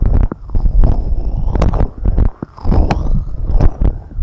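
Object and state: Silicone rubber microphone ear covers.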